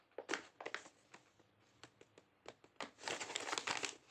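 Fingertips rub and crinkle the surface of a medium, flat, sealed white paper blind bag printed with "CAKES," held in both hands; it is hollow with what seems to be a small item inside, and it is turned over to show the back. Short, irregular, bright crinkles and crackles come in quick bursts, then merge into a denser, continuous stretch of crinkling near the end before fading.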